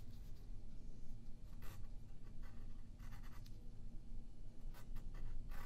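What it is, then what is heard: Pencil drawing on paper. A yellow pencil shades and draws on a thin white sheet of printer paper lying flat on a wooden table while the other hand holds the sheet still. Steady scratching strokes come in short, bright bursts over a constant low background hum.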